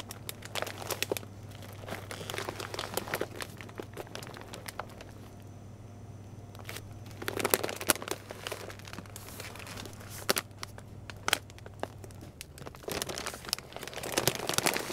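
Fingertips and nails grip and rub a large green Rachael Ray Nutrish dog food bag, made of woven plastic and full of dry kibble, as it sits on a shelf. Bursts of dense, bright crinkling and crackling come and go, with quieter stretches between them. A steady low hum runs underneath until near the end.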